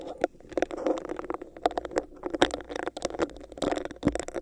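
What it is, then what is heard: Hollow plastic cup tapped and scratched. Fingertips and nails tap and scratch the sides of a hollow, empty, clear bumpy plastic cup placed over a microphone. Quick, dry clicks and short scraping rasps come in an uneven, busy rhythm, each carrying a hollow resonance around 355 Hz and dying away almost instantly.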